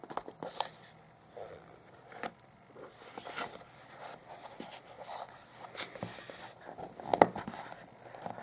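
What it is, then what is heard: Cardboard phone box. A small, hollow white cardboard Motorola Moto G 2014 retail box is held in both hands and turned over while fingertips and short nails rub and scratch along its printed surfaces and edges, possibly picking at a seal sticker. The result is quiet, dry scratching and soft rubbing with scattered brief ticks and one sharper click near the end.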